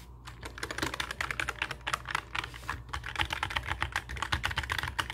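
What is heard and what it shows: A black mechanical keyboard with plastic keycaps sits on a wooden desk while both hands type on it with their fingertips. About 29 quick, sharp clicks come in a steady stream, bright in the upper mids, over a faint low hum.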